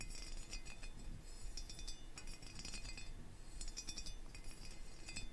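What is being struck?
Small metal pagoda figurine.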